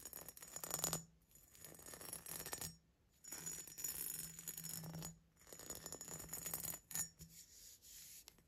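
Fingertips and nails tap the body and narrow neck of a medium-sized, hollow, empty green glass vase with a diamond-patterned body, held in the hands. Quick, bright clicking and ticking taps come in dense bursts separated by short pauses. Each tap has a brief glassy ring and only a little low-end weight.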